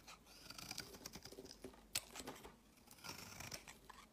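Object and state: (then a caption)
Bar soap being scraped. A utility knife blade repeatedly scrapes crumbly shavings off the edge of a solid, palm-sized, pale green bar of soap held in the hand. The sound is a quiet run of dry, crisp scratching strokes with bright, crackly texture and almost no low end, with one sharper click standing out midway.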